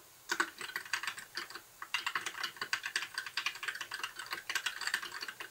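Fingertips of both hands type steadily on a compact white backlit mechanical keyboard with plastic keycaps. Rapid, bright, clacky keystrokes fall in quick bursts, each click dying away almost instantly, with one brief pause before the typing resumes.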